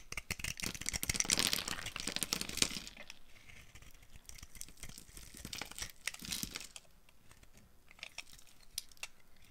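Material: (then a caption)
Soap. A yellow-handled utility knife blade carves a solid, oval, dry pink bar of soap with bead decorations, held in the palm, scraping shavings off. Crisp, bright crackling scrapes come densely for the first three seconds, then return in a shorter burst around six seconds. Quieter, sparse ticks and scratches fill the rest.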